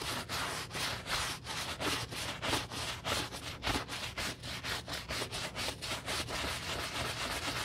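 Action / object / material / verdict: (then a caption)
scrape / leather boot scrubbed with a bristle brush and soap foam / leather / none. A gloved hand holds a hollow black leather UGG men's boot while a wooden-handled bristle brush scrubs its side and toe through soap foam. The brushing makes a steady run of quick, rhythmic strokes with a bright, hissy scratching sound and little low end.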